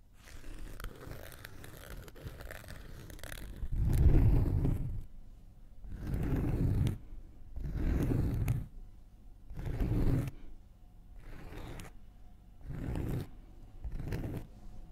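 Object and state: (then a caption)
Cork coaster. A thin wooden knitting needle is scratched across the surface of a round, flat, solid cork coaster about palm-size, held in one hand. A soft, continuous low scratching gives way to louder rasping, crunchy strokes in separate bursts with short pauses between them. The sound is dense and mostly low, with a dry, gritty texture.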